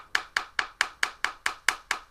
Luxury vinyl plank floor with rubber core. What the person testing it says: this is going to have much more of a solid plasticky sound to it